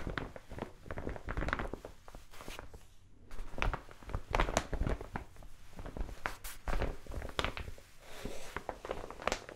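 Long nails scratch and tap across the surface of a large brown kraft paper mailer envelope. Dry, crinkly scratching mixes with quick, sharp taps that stop almost instantly, with a brief quiet pause partway through.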